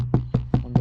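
Four taps on the window glass of an economy car's door (not a BMW) produce short, low, hollow knocks, dominated by low frequencies around 125 Hz, that rattle through the body. Despite extra soundproofing the door is noisy: the body is too flexible and everything vibrates, unlike an E46 BMW.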